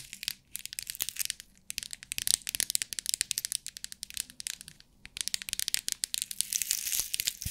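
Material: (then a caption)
Plastic. A clear plastic compartment box of rhinestones is shaken, then long nails tap and scratch its lid. Dense, bright, crisp clicks and rattles follow one another rapidly, pausing briefly twice. There is almost no low end and no ring.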